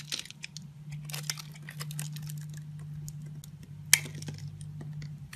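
A metal blade scrapes and slices thin layers and cubes off a solid orange and white striped bar of soap held in the hand. Crisp, bright scraping and cutting clicks come in irregular bursts over a steady low hum, with one sharp snap of a cut near the end.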